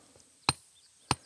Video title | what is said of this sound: Three Generations of Volcanoes at Mount Rainier - Nick on the Rocks | It rings like a bell because this stuff was formed at sea level, got sent deeply into the earth to become metamorphosed